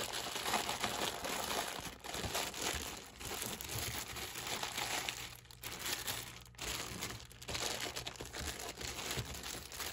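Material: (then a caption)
Plastic. A hand squeezes and rubs the thin plastic film sleeve around a stack of clear plastic cups resting on a black surface. The wrapping produces continuous, bright crinkling and crackling, with brief quieter pauses between squeezes.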